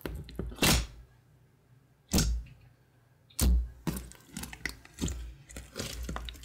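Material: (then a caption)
Glue slime. Fingertips with painted nails press, poke and squish a large, soft, glossy grey glue slime with darker flecks (recycled slime) resting on a wood-grain table. Deep, thunky air-pocket pops come with bright, crackling squelches. A few loud presses are spaced apart at first, then the squishing grows busier and more continuous toward the end.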